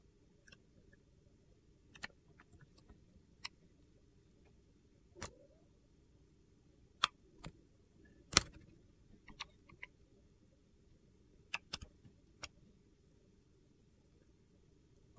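A box-cutter blade shaves thin curls off a solid purple-and-white marbled soap bar held in one hand. Sharp, bright, crisp clicks and scrapes come at irregular intervals over a low, steady background hum.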